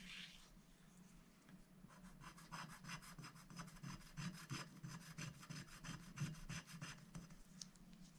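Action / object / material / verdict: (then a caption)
scrape / black-coated scratch-art paper scraped with a wooden stylus / coated paper / none. A wooden stylus scratches the coating off a thin, black-coated scratch-art paper sticker sheet, held flat by one hand on a glass plate, in small strokes. A steady run of quick, dry, raspy scratches comes at about three per second, bright at the top, over a constant low hum.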